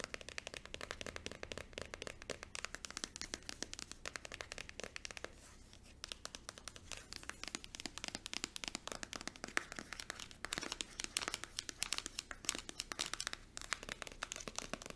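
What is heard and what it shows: A small white plastic cream tube, held upright, is fast-tapped on its front with long acrylic nails, giving a dense, rapid stream of crisp, bright clicks with almost no low end. The tapping pauses briefly around the five-to-six-second mark, then resumes and grows slightly louder and sharper toward the end.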